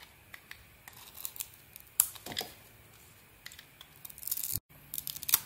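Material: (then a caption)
Soap. A small metal blade, held in a hand with a taped fingertip, shaves and scrapes thin curls off a small solid bar of soap with a glossy green coating, held in the other hand, as white shavings pile up. The result is a quiet series of crisp, bright scraping and shaving strokes with sharp, short attacks and little low end. There is a brief silence near the end before the strokes resume.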